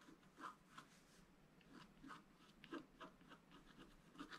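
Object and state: Scratch-art paper sheet.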